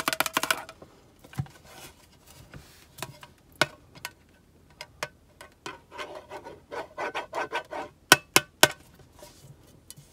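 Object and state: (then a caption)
Metal soap tin. Long nails rub and tap the sides and labeled back of a small, hollow, rectangular black-and-gold printed metal tin of Chinese sandalwood soap with a soap bar inside. Quick, bright metallic clicks with very little ring mix with soft scratchy rubbing, and a faster run of taps opens the clip before sharper taps near the end.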